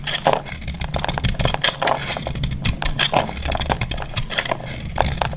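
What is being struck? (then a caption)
Bar of soap cut with a metal blade. A metal utility blade scrapes and cuts into a solid, hand-sized, pale yellow bar of dry soap, breaking it into crumbly shavings. Dense, crackly scraping and crunching runs throughout, with sharp bright ticks over a low rumble.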